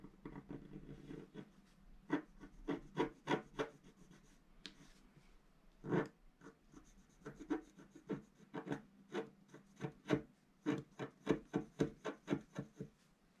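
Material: Coated paper.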